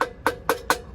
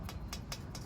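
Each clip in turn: First: hollow dummy hubcap nut. Second: solid hubcap nut.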